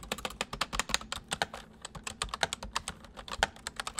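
Fingertips press the keys of a white full-size plastic mechanical computer keyboard slowly, then type. Each press gives a short, sharp, bright click that dies away almost at once, with little low end. The keystrokes come in an uneven, steady run.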